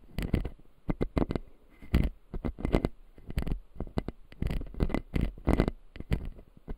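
A fingertip taps and scratches the lower teeth of an opened clear acrylic dental model with solid white plastic teeth. Quick, dry, closely spaced taps with a low, dull body die away almost at once, mixed with soft scratching rustles.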